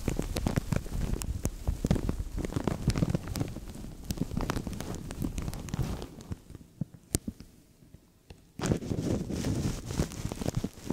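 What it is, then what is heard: Thin plastic bag crinkled over a microphone. A thin, translucent plastic bag pulled hollow and empty over a microphone is squished and crinkled by fingertips, making dense, close crackling with a heavy low rumble. The rustling thins out to sparse soft crackles and near silence around eight seconds, then returns loud and full.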